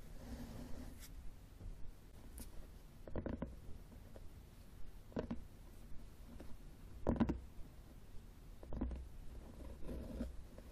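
A closed red cloth hardcover book, solid and lying flat on a wooden table, is tapped with the fingertips and short nails of both hands. The sound is soft, low and muffled, with dull thuds and light scratchy brushes that die away almost at once.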